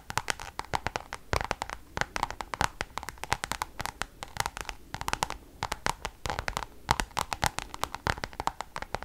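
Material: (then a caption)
Coated canvas. Long acrylic nails tap and scratch the surface of a flat Louis Vuitton Damier checkered coated canvas zip pouch with pink leather trim, held up in both hands. Dense, rapid clicky taps and short scratchy strokes are heard, with sharp bright transients and a ringing tone near 900 Hz.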